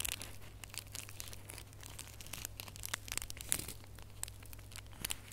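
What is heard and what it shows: Bare fingernails scratch and crinkle the foil of a small red holographic foil-wrapped gift box ornament held up close. A dense run of quick, bright crackles and scratchy rustles rises and falls over a steady low hum, with a few sharper snaps standing out.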